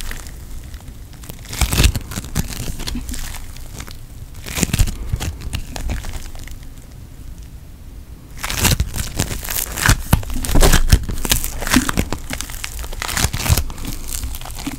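Pink foam bead putty held in a palm is pressed and squeezed with the fingers, giving dense crinkling and crackling pops over a low rumble. Bursts of crunching come around 2 and 4.5 seconds, then a quieter stretch before a busier run of crackles from about 8.5 seconds to the end.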